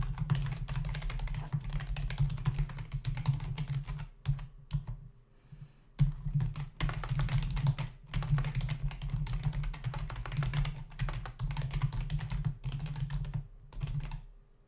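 Fingertips of both hands rapidly tap the hollow key caps of a black plastic membrane desktop keyboard, producing a dense stream of short, dull clicks. The typing pauses briefly around the middle before resuming at the same fast pace. A steady low hum sits underneath throughout.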